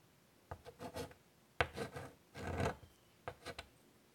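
White chalk is dragged and scratched across the surface of a large wooden-framed chalkboard lying flat, drawing lines. Short, dry, scratchy strokes come in quick bursts separated by brief pauses, with a gritty, rasping texture and a bright edge. The longest, loudest stroke falls near the middle, and each stroke stops cleanly without ringing.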